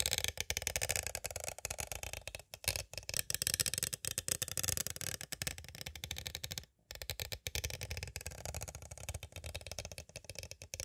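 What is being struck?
Clear plastic cassette case.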